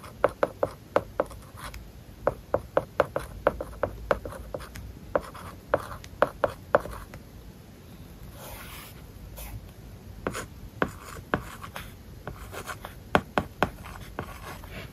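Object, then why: Plastic stylus on a tablet with a matte plastic screen film. A plastic stylus writes words on an iPad lying flat, its glass screen covered with a matte plastic paper-like film. Quick, sharp taps with a ringing tone near 600 Hz mix with soft scratchy strokes across the surface. The rhythm breaks into a quieter stretch of faint rubbing near the middle before the tapping resumes.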